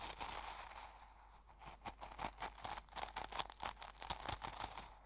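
A fingertip presses and pokes into coarse salt crystals in an open small glass jar full of salt, while the other hand holds the jar. The result is a quiet run of crisp, bright crunches and crackles in quick, short bursts that grow denser toward the end.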